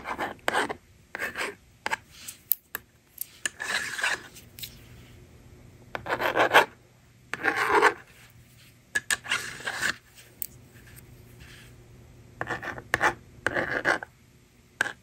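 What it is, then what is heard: Plastic magnetic drawing board scratched with stylus. A yellow plastic stylus scratches numbers across the honeycomb screen of a hand-held blue and pink plastic magnetic drawing board, held in long-nailed fingers. Short, dry, raspy scratching strokes come in bursts with quiet gaps, carrying a bright, gritty texture and almost no low end.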